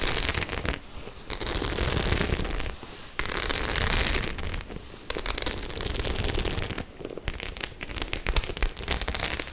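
Long nails scratch across the studs of a white studded faux-leather clutch bag. They make dense, crackling bursts of scraping that are bright at the top with a low rumble beneath. The bursts are broken by several brief, quieter pauses.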